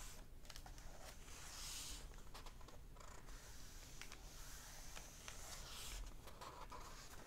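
Fingertips of one hand rub and lightly scratch the paper pages of an open hardback book lying on a table, and a page is turned. The result is soft, quiet papery rustling with brief bright scratches over a steady low rumble.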